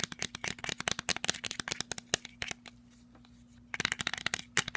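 Fingernails tap rapidly on the frame, arms and dark lenses of black plastic sunglasses held close, making sharp, bright, dry clicks with almost no ring. The taps come in quick bursts, pause for about a second midway, then resume. A faint steady low hum runs underneath.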